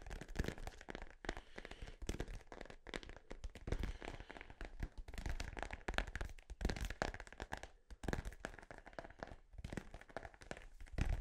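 A blue synthetic-leather soccer ball, hollow and inflated, is held in both hands near the mic and tapped and scratched with fingertips and nails. Rapid, uneven taps land as dull, low hollow thumps that die away almost at once, mixed with dry, crinkly scratching across the surface for the whole clip.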